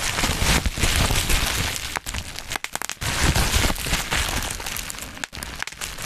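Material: Plastic.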